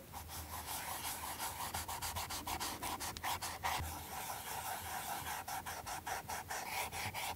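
A cotton ball held in metal forceps is rubbed across the leather sole of a Chanel ballerina flat with a rubber heel tip, the shoe held upside down in the hand. Quick, uneven back-and-forth strokes make a steady, soft, scratchy rubbing with a bright hiss and a faint midrange tone.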